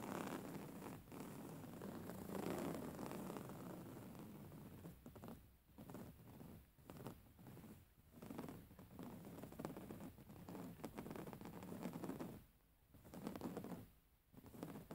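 Long nails on both hands scratch the coarse weave of a soft, filled grey woven-fabric pillow. The result is a steady, raspy, low-pitched scratching texture in rhythmic bursts, with a few brief quiet pauses between passes.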